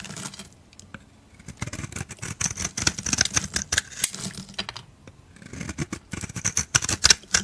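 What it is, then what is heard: Soap bar being shaved. A solid white, palm-sized oval soap bar with a blue speckled rim is held in the hand and shaved with a metal utility blade. Quick, crisp scraping and cutting strokes come in rapid bursts with bright, high hiss, broken by two brief quiet pauses. Each stroke is short and dry with almost no ring.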